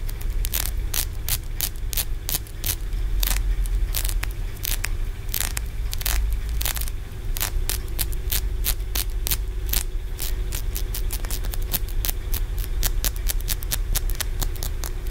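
Fingernails scratch and tap along the stacked ridges of a solid green aventurine stone feng shui pagoda held in both hands. Rapid, bright, dry clicks and short scrapes repeat throughout, each dying away almost instantly, over a steady low rumble.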